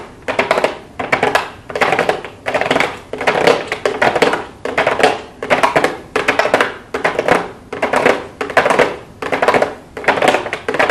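Long blue acrylic nails tap and scratch on a small, hollow pink cardboard makeup box with a clear plastic window. The sound comes in repeated bursts of quick, dry clicking taps with a hollow tone around 500 Hz and bright, brief scratchy edges. Each burst swells and fades in a steady rhythm.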